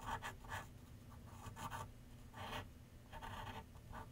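A graphite pencil shades across a large white paper sheet mounted on a flat board on an easel, making light, soft scratching strokes. Short bursts of dry, papery scratch come in uneven bursts over a steady low background rumble.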